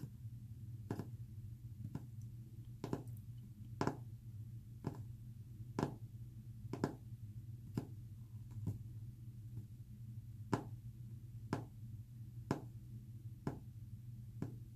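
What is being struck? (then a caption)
Painted wooden panel tapped with fingernails. Short fingernails tap quickly on a solid, flat, white-painted wooden panel, making sharp, dry clicks that die away almost instantly. The taps come roughly once every two seconds at an uneven pace, over a steady low hum.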